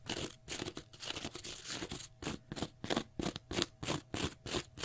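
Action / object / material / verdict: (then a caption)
scrape / cellulose sponge block / cellulose / none. Fingernails scratch a small, pale green block of porous cellulose sponge in quick, dry, crunchy strokes. The bright, hissy scraping first runs together, then settles into separate bursts at about three per second.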